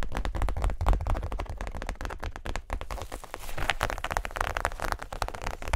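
Long nails rapidly tap and scratch a small, closed tan zip-around wallet, possibly faux leather. The result is a dense, continuous stream of short, dry clicks and crackly scratches over a low, thumpy body, with no ringing after each hit.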